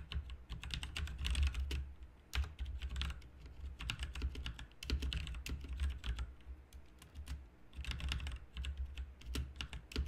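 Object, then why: Plastic mechanical keyboard keys. Fingertips type continuously on a backlit plastic RGB mechanical keyboard with plastic keycaps, producing rapid bursts of sharp clicky keystrokes. The bursts are separated by brief pauses, and a steady low hum sits beneath the taps.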